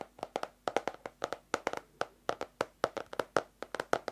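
A small, closed yellow-orange hardcover paper notebook is held close and tapped on its cover with long nails, making 23 quick, dry clicks in an irregular rhythm. Each tap is short and hollow-sounding, centered around 570 Hz, with a slight bright edge and almost no ring.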